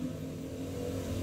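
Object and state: Nothing is struck.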